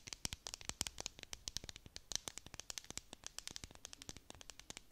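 A clear plastic tumbler with a dome lid and confetti filling is held in both hands and scratched with long nails. Rapid, closely spaced scratchy taps and crackles come through, bright and dry, with very little low end. The result is a quiet, continuous crinkly clicking texture.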